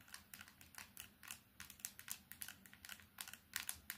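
A small old candybar keypad mobile phone with a plastic body, silver trim and a screen is tapped fast with long painted nails on its front, keypad and sides. A rapid, uneven string of sharp, bright plastic clicks and ticks follows, each dying away almost at once with little low end.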